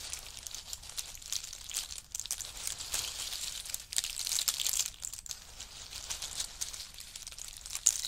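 Handfuls are scooped from a pile of in-shell pistachios and rubbed between the fingers while fingertips rake through the pile. The result is a dense, bright, dry crackling and clicking of shells rattling against each other. It swells louder around the middle and dips briefly near two seconds.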